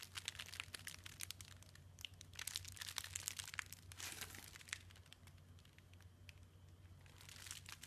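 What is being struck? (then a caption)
Foam bead slime pressed by hand. A bare hand presses, squishes and pokes into a large mass of white floam slime packed with small green, yellow and white foam beads in a round clear bowl. The beads give off a steady stream of soft, bright crunching and crinkling clicks over a low background hum.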